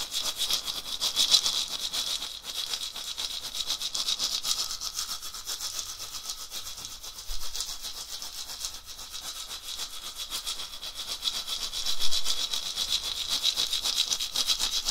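A round, hollow dried gourd rattle, carved or etched, about head-sized and on a short wooden handle, is held by the handle in one hand and shaken back and forth so the loose filling inside rattles. The result is a continuous, dense, bright swishing rattle with a strong high hiss. It swells slightly in loudness at a few points, notably around the 12-second mark.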